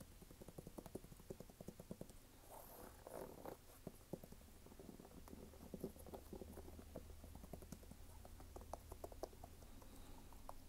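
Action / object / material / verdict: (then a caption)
tap / rubber sneaker sole / rubber / none. Fingertips tap and scratch the brown waffle rubber sole of a red canvas sneaker held up in the air, making quick, dry clicks over a steady low hum. A brief rougher scratching burst comes near the three-second mark, then the light, rapid tapping continues to the end.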